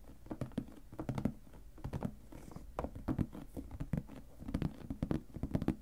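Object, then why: Clear plastic storage box with lid. Fingertips and short nails tap and scratch the lid of a shoebox-sized clear plastic storage box, full of papers and ephemera, lying on a cutting mat. The result is a quick, uneven patter of soft, dull knocks with very short decay, mostly low in tone, with faint scratchy rustles between the taps.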